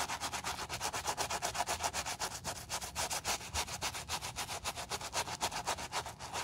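A wooden bristle brush scrubs the foam-covered upper of a tan suede shoe in quick, steady back-and-forth strokes, about four per second. Each stroke makes a bright, hissing scratch, with a slight wet, foamy texture centred around 900 Hz. The sound is continuous and rhythmic, with almost no low end.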